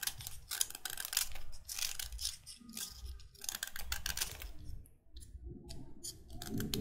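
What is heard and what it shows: A solid white chalk stick is scraped and shaved with a utility knife blade, its powder collecting on a wooden table. Dense, dry, bright scraping and crumbly cutting strokes follow one another closely, with a soft low rumble underneath and a brief pause near the five-second mark.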